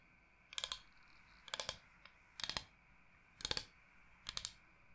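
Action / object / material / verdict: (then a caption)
tap / bamboo cutting board / bamboo / none. Long nails tap rapidly on the face of a large, flat, solid bamboo cutting board shaped like Michigan. Five quick bursts of bright, dry clicking come about a second apart, each a tight flurry of taps that stops dead with no ring over a faint background hiss.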